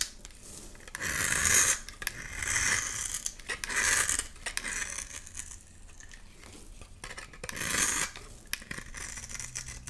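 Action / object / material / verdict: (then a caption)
scrape / bar of soap scraped with a metal blade / soap / none. A metal blade scrapes shavings from a solid white bar of soap with blue streaks, held in the hand. Bright, raspy scraping strokes come in bursts, each rising and fading, with softer scratching between them.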